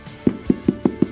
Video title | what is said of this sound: Fonduebrot selber backen | hört man es, schön knusprig ist das